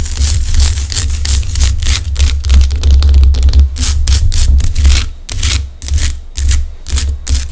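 Long acrylic nails scratch and tap over the craggy top of a large, solid pink Himalayan rock-salt lamp. Irregular bursts of bright, gritty scraping and quick clicking taps sit over a steady low hum.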